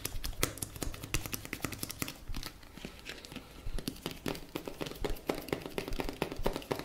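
A blue plastic cosmetic tube, held horizontally, is tapped and scratched with fingertips and nails. Rapid, sharp clicking taps mix with dry, scratchy crinkling over a steady low hum, with bursts of denser tapping throughout.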